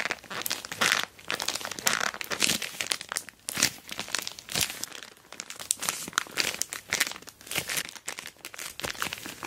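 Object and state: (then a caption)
Plastic mailer bag crinkled by fingernails. Long black nails scratch and rub an orange plastic mailer bag wrapped around a box, partly turned to its taped side. The result is a steady stream of dense, bright crinkling and scratching with quick bursts that rise and fall and almost no low end.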